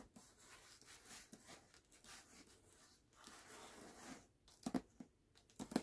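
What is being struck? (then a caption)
Hardcover book with glossy paper dust jacket. Fingertips and short nails scratch and tap the glossy paper dust jacket of a medium hardcover book, "Gallant," lying flat and closed on a black cloth. Quiet, papery scratching and rubbing runs through most of the clip, and a few sharper, brighter taps stand out near the end.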